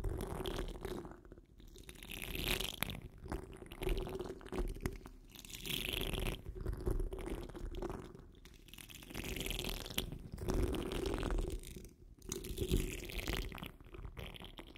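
Long nails on the curled fingers of both hands scratch the rounded, hollow steel wire-mesh grille of a large condenser microphone. The result is a close, rumbling, bass-heavy scraping with bright crunchy hiss, coming in waves of dense scratching separated by brief quieter dips. A steady low hum runs underneath.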